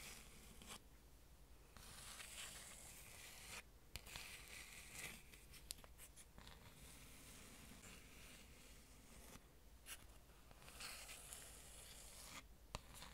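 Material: Wood.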